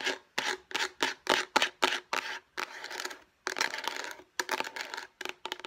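Long painted nails scratch and rub across the surface of a hollow, light blue rectangular plastic food storage container. It sounds like a fast, uneven run of short, bright, scratchy bursts, broken by a few longer rasping strokes. The sound is crisp and hollow, with almost no low end.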